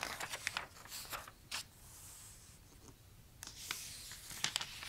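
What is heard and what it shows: Fingertips slide and trace across the thin glossy paper pages of a large open toy catalog lying flat while the pages are turned. Bright, crisp crinkles and papery swishes come in short bursts, separated by a quiet, hissy stretch in the middle.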